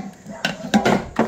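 A small jewelry box found inside a safe is handled and shaken, giving four short, hollow knocking clicks with no rattle of contents. The box is empty, with nothing inside when opened.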